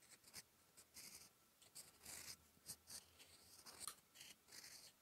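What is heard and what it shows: A steel fountain pen nib, held in the fingertips, scratches across a thin sheet of lined writing paper lying flat while writing. Short, bright scratching strokes come in quick bursts separated by brief pauses. The sound is quiet and thin, with almost no low end.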